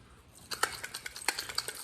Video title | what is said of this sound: 2018 2019 2020 hyndia sonato starter diagnostic and replace step by step | If you hear a starter shake around and then dust coming out of it like that one did, yeah, it's a bad starter.